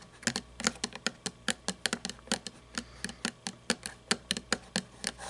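Long painted nails tap and scratch the wheels and chassis of a small toy monster truck with plastic and chrome parts standing on a table. About 23 sharp, dry, bright clicks arrive in a quick, uneven run, each dying away almost instantly over a faint steady hiss.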